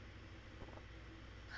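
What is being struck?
Nothing is struck.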